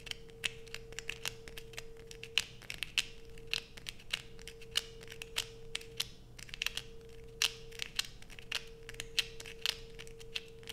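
Long pointed nails scrape a solid blue bar of soap held in the hands, making rapid, sharp, bright scratching clicks in quick irregular bursts. A steady faint hum near 470 Hz runs underneath throughout.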